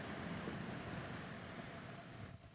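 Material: Nothing is struck.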